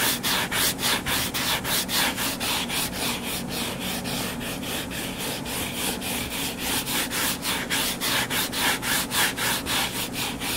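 Fingernails scratch and rub back and forth across the cover of a solid purple-covered paperback book lying flat. The result is a steady, fast rhythm of dry, bright, hissy scraping strokes, about four per second. The strokes blur together slightly in the middle of the clip.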